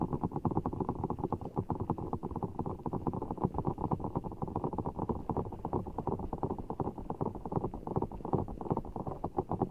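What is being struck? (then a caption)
Large clear rubber ball filled with water gel beads. Fingertips squeeze and rub a large, full, soft ball of blue water gel beads in a clear rubber skin, held just over the mic. The sound is a steady stream of quick, wet, squelchy pops and rubs, low and muffled with no bright top. It keeps up evenly at a soft level throughout.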